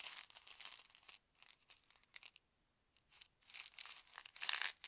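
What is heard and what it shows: Fingertips scratch and tap the label and yellow cap of a small white plastic Advil ibuprofen bottle, partly filled with tablets, while it is held and turned in both hands. Quiet, dry, high-pitched scratching and crinkly bursts come in uneven clusters separated by brief silences, with almost no low end.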